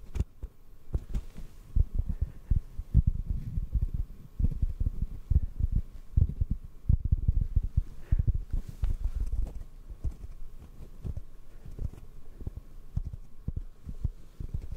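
A black foam microphone windscreen, held in the hand off the mic, is tapped rapidly with the fingertips. The taps are soft, hollow, low thuds with almost no high end and very short decay, over a faint steady hum. They come in uneven clusters throughout.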